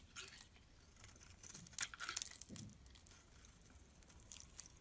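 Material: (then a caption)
Soap. A metal blade scrapes shavings off the surface of a solid oval black-and-white striped bar of soap held in the palm. Soft, bright, crisp scraping and crunching bursts come at an irregular pace, with a few louder strokes in the middle.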